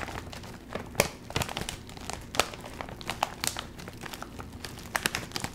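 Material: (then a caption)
Plastic film. A full Doritos chip bag of metallized plastic film is crinkled and squeezed by the fingertips, then held up and handled. Dense, bright crinkling runs throughout, broken by sharp, quick crackles that stand out above a steady rustle.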